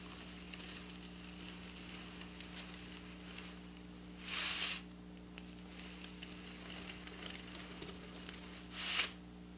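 Long black nails scratch and rake across bunched silver sequin fabric, making a quiet, bright, crackly hiss scattered with tiny clicks over a steady low hum. Two louder, high-pitched rasping rakes stand out.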